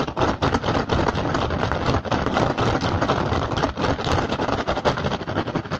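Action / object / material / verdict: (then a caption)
scrape / woven rattan basket / rattan / none. A hollow woven rattan basket is scratched fast across its woven surface by both hands, using fingertips and short nails. The result is a dense, rapid, irregular crackling rasp with a broad, fairly bright texture that stays steadily loud throughout.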